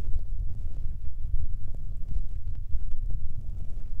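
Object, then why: Foam microphone windscreens. Fingertips and nails rub and tap the small grey foam windscreens covering a Tascam recorder's mic capsules. The result is a dense, muffled low rumble of soft thumps and scuffs with almost nothing bright, steady in level throughout.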